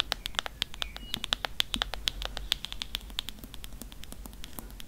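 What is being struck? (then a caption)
Faux-leather hardcover book tapped with fingernails. Long nails tap and scratch the embossed spine of a thick, leather-bound Grimm's fairy tales hardcover with a faux leather cover. The result is a quick, steady run of sharp, bright clicks that die away almost instantly, each with a crisp tone near 3.4 kHz. A soft, low rustle continues beneath them.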